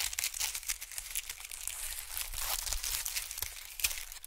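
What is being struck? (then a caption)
Expanded honeycomb paper sheet. A thin sheet of white expanded honeycomb packing paper is stretched and scrunched between fingers. It gives a quiet, steady, bright crinkling and crackling with dense papery rustles and occasional sharper snaps. Each crackle dies away almost at once.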